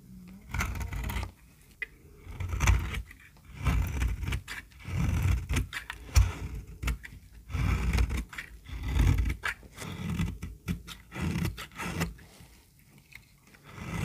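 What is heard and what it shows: A solid yellow-orange bar of very dry soap, held in a palm by a hand with long dark nails, is scraped and cut with a utility knife blade, leaving crumbly shavings. Repeated dry, rasping bursts and short crackly clicks come in uneven strokes with quiet gaps between them, mostly low and muffled with little high content and no ringing after each stroke.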